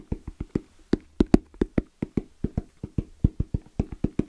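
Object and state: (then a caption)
EVA hard-shell zipper case. Fingertips tap quickly and unevenly on the lid of a small, closed, hollow black zippered hard case with orange trim and a fabric-covered EVA shell, with some nail scratching. About 19 short, dull, hollow knocks are heard, each with a low body around 230 Hz and almost no ring. Faint scratchy noise sits between the taps.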